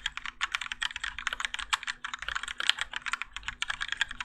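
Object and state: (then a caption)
Mechanical keyboard with ABS plastic keycaps. Both hands type continuously with their fingertips on a Keychron K4 compact mechanical keyboard, which has grey and orange ABS plastic keycaps, Gateron Yellow switches and a plastic and metal case, and rests on a desk mat. Rapid, dense clacks with short, dry attacks run steadily throughout, bright and crisp with little low-end thump.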